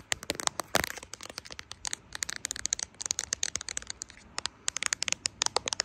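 Long acrylic nails tap and scratch the back and camera bump of a smartphone in a brown plastic case with charms, held in both hands and recording itself. Around forty quick, dry, bright clicks and ticks come in uneven bursts, mixed with short scratchy rasps, with almost no low end.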